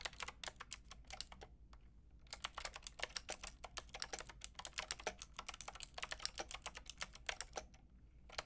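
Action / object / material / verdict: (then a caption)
tap / plastic mechanical keyboard / plastic / none. Fingertips with long red nails rapidly tap the round pink and grey plastic keycaps of a Lofree mechanical keyboard with a white plastic case. The result is a quick stream of short, bright, clicky keystrokes. There is a brief pause in the typing at about 1.5 to 2.3 seconds before it picks up again.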